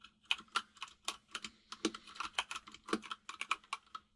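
Fingertips of both hands type on a full-size mechanical keyboard with white and grey plastic keycaps. A quick, uneven run of sharp, bright clicks and clacks is heard, each dying away almost instantly, over a faint steady low hum.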